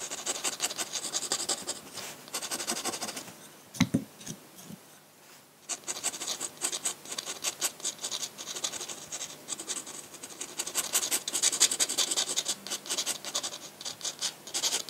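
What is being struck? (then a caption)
Paper sheet with metal dip-pen nib. A metal dip-pen nib scratches across a large flat white sheet of drawing paper in fast, dense hatching, making a bright, raspy scratching. The strokes run in rapid bursts, pause briefly around four to five and a half seconds with a couple of soft low taps, then resume and grow louder toward the end.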